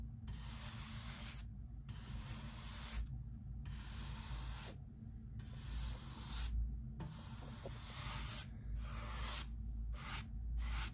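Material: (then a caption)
Pine wood. A hand-held bristle brush sweeps across the face of a solid pine workbench beam during work removing wood knots from the bench. Repeated bright, hissy brushing strokes are broken by short pauses, over a steady low hum.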